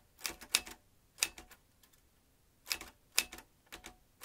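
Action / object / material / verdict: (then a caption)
strike / metal manual typewriter / metal / none. Fingertips of both hands press the round keys of a large, hollow vintage metal manual typewriter with exposed typebars. Short, bright clacks come in small bursts separated by brief pauses. Each strike is crisp and dies away almost at once, with a sharp metallic edge around 2.6 kHz and almost no low end.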